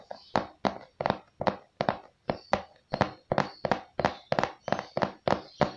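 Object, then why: Cardboard product box. A hollow, glossy printed cardboard microphone box, likely holding the product, is held in both hands and tapped and scratched on its face with fingertips and nails. About twenty quick, evenly spaced dull taps land in a steady rhythm, each with a hollow papery thump and a bright scratchy edge that dies away almost at once.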